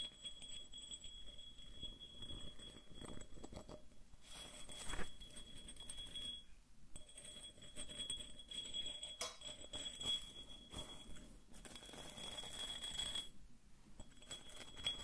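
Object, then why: Small ceramic vase. Fingernails scratch and tap a small, hollow, apparently empty white ceramic vase with a relief pattern, held close to the microphone. Quick, dry clicks and raspy scratches patter along throughout with little ring, over a faint steady high whine.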